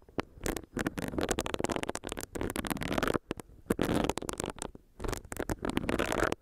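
A small, solid pink silicone facial brush is tapped with long nails and has its bristles rubbed against a microphone. The result is a quick, uneven series of soft taps and scratchy rustling bursts with short pauses between them.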